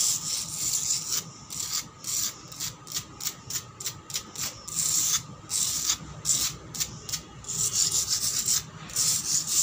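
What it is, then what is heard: Concrete floor scratched with nails. Long black pointed nails on one hand scratch fast and hard across a solid, cracked concrete floor. A rapid series of short, bright, hissing scrapes comes in bursts, some strokes crisp and separated, others running together into longer rasping rubs.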